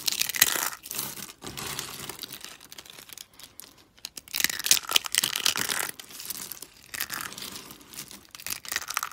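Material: Soap.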